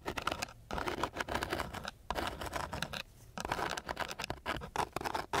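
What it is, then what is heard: Coarse sandpaper scratched. The tip of a flat wooden stick scratches and pats across a flat, gritty coarse sandpaper sheet. Rapid, dry rasping strokes come in bursts separated by brief quiet pauses, with a bright gritty texture and short, crisp taps.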